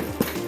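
A single tap on a crusty Italian bread loaf after 30 minutes of baking gives a short, hollow knock with a low body around 240 Hz over a faint background. The hollow sound shows the loaf is well cooked.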